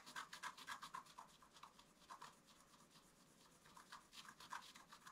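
A wooden stylus scratches the coating of a flat black-coated scratch-art card in quick, uneven strokes of about four per second. Each stroke is a dry, bright rasp centred near 1 kHz, louder at the start and end with a softer stretch in the middle.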